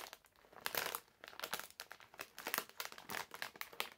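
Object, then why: Plastic-film candy bag. A medium printed plastic-film bag full of hard candies is held in both hands while fingertips squeeze, fold and crinkle it. Irregular bursts of bright, crackly crinkling come and go over four seconds, with almost no low end.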